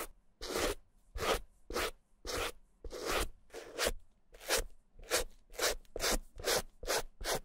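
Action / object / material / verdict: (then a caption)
scrape / suede handbag brushed with a stiff plastic brush / suede / none. A white plastic suede brush with stiff bristles is swept across the red suede of a small, hollow, dry Gucci mini handbag with taped bamboo handles. Twelve separate dry, bristly rubbing strokes rasp across the surface, each a brief broadband scratch reaching into the high, bright range, with short quiet gaps between them.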